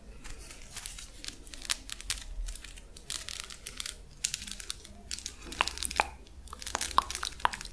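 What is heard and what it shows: A hollow, flexible purple plastic lattice fidget toy is held close and scratched and squeezed with long nails. Dense, crisp crackling and bright scratching fill the clip, broken by sharp clicks and ticks. Toward the end, a few short pinging tones ring out around 1 kHz.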